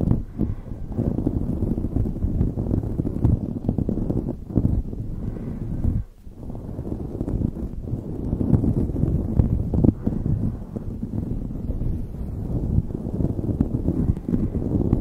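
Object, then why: Knit fabric beanie over a microphone. A light blue knit beanie covering the microphone is scratched quickly with long nails from both hands. The result is a dense, continuous low, rough scratching rumble with brief lulls, including a short dip around six seconds.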